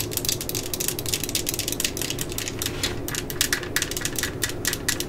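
A yellow and black plastic cordless drill lies on its side on a mat while long fingernails of both hands tap and scratch its hollow plastic body. Quick, bright clicks and tapping scratches come in a rapid, steady run over a faint low hum.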